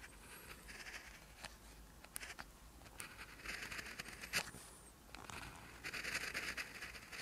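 An orange ballpoint pen writes on a lined notebook page, the same page throughout. Its tip scratches the paper in quick strokes, producing a soft, bright scratching patter with brief sharp ticks and longer hissing strokes.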